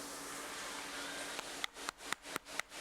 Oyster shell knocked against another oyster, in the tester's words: makes a hollow sound when you knock it against another oyster like that it means that there's something wrong with it